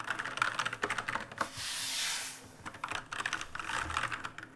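Fingertips type on an RGB-lit black mechanical keyboard with plastic keycaps, producing quick, crisp clicky taps centered in the upper mids. Midway, a hand sweeps over the keys, making a soft, bright, hiss-like rustle before the rapid typing resumes.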